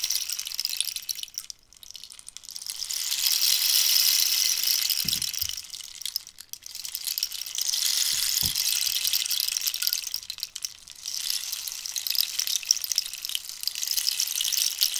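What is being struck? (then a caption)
Dried cactus rainstick. A long, hollow wooden rainstick made from dried cactus, with a rainbow-banded end, is tilted back and forth, sending a bright, hissing, rain-like cascade that swells and fades in waves. Long nails tap the ridged wood, adding a few soft, dull knocks beneath the high rattling patter.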